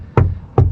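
Two knocks on the front door panel of a VW e-Golf, with self-adhesive foam sheets added inside for noise reduction. Each knock is a short, dull low thud around 94 Hz that dies away quickly with little ring. The damping sounds okay and not that bad, though it could be better because one side of the door can't be reached.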